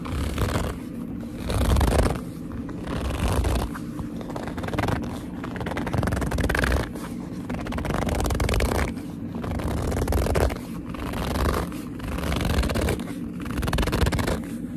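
Fingertips with long nails squeeze and rub a glossy black leather purse, a hollow bag, pressing the leather into folds. Squeaky, scraping grips swell and ease in repeated waves with a deep, muffled low end, and the leather creaks and rustles continuously between the louder squeezes.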